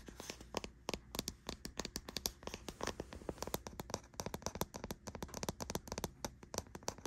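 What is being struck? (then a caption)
Plastic deodorant stick container. Long nails tap and scratch the label and body of a white, hollow, hard plastic deodorant stick container resting on a bedsheet. Rapid, sharp, bright clicks come close together over a soft scratching rustle.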